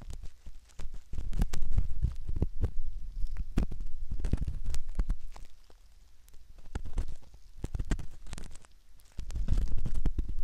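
A metal ear pick scratches around the canal opening of a soft silicone ear model, heard very close up. Dense, irregular scraping and rubbing comes in low, muffled rumbles with sharp clicky ticks, swelling louder and fading in uneven waves with brief quieter stretches.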